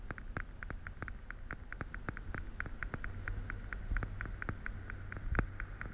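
Fingernails tap rapidly on the lids of a small, hollow, translucent blue plastic weekly pill case held sideways beside the microphone. The result is a fast, steady patter of light, hollow plastic clicks with a short tonal ping, over a low background rumble.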